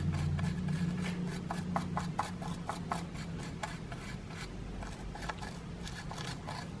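A solid grey plaster excavation block is scraped with a wooden stick, sending plaster crumbs flying off. Quick, uneven rasping strokes repeat throughout, each a short, dry scratch over a steady low hum.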